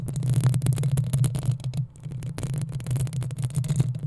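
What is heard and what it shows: Long acrylic nails, using both hands, scratch and tap the hollow metal mesh grille head of a black desktop USB microphone in the style of a Blue Yeti Nano. The result is a dense, continuous stream of rapid, crackly scrapes and clicks with bright edges over a heavy low rumble. The sound briefly thins out just before the two-second mark, then picks back up.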